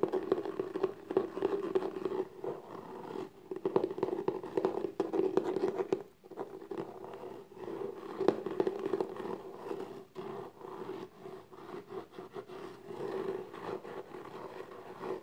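Fingertips and long nails tap and scratch the top of the lid of a small, closed, hollow black textured cardboard gift box. Quick, dense scratching and tapping carry a hollow midrange tone with little low end, and each tap dies away almost at once. The activity pauses briefly a few times before resuming.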